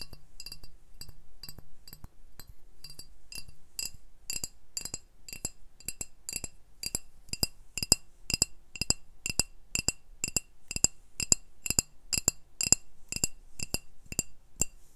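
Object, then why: Glass bottle. An empty, hand-sized brown glass Hobgoblin beer bottle with a paper label is held in one hand while the other taps its hollow body with fingertips, nails and a metal ring held between the fingers. About 42 sharp, bright glassy clinks come at a steady pace of roughly two per second, each dying away almost instantly. The taps start soft and grow louder and brighter after the first few seconds.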